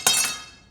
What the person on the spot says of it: That's a carbon fiber rod. If it was uh fiberglass, it would be more dull sounding.